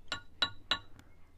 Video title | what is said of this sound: WHAT NEXT FOR THE CITY? ANDREW ZIMINSKI - Salisbury in ruins | this is bath stone, there's a different tone to it, quite musical.